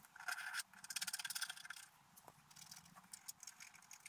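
A pointed wooden stylus scratches across a flat, black-coated scratch-art paper sheet about A5 in size, lying on a table and held down by one hand, revealing a deer picture underneath. Dry, bright scratching comes first as a sustained scrape, then as a quick run of short, raspy strokes. It then thins into lighter, scattered scratches.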